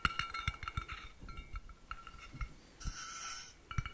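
A blue-painted, hollow stainless steel water bottle with a black cap is held up and tapped along its body with fingertips and nails. It gives a quick series of short, ringing metallic clinks pitched around 1.4 kHz with bright overtones, each dying away almost at once, plus a brief bright rasping stretch before a final burst of taps.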